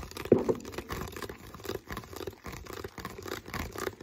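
Fingertips tap and scratch the molded base of an empty, hollow, clear plastic water bottle. Quiet, hollow plastic taps with a mid-low tone around 375 Hz mix with soft scratchy crinkling, the sharpest tap coming near the start. Each sound dies away almost at once.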